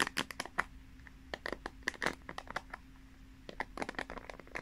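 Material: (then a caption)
Plastic. Long nails scratch and flick across the plastic pins of a pink paddle hairbrush, turned bristle-side out with the pins set in a cushion pad. The result is a quick, irregular run of dry, bright clicks and crisp scratches, some louder than others, over a faint steady low hum.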